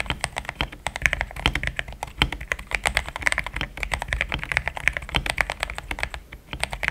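Fast typing with the fingertips of both hands on a compact pink-white plastic mechanical keyboard with thick plastic XDA keycaps, a polycarbonate plate and linear switches, resting on a desk mat. A dense, steady stream of short, bright clacks with a soft low thump underneath, each press dying away almost instantly.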